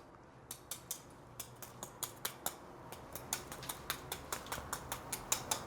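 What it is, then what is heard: Crispy fried coating. Chopsticks tap on panko-coated, deep-fried lamb riblets, producing about two dozen quick, bright, crunchy clicks at an irregular pace over a low background hiss. The coating sounds crisp.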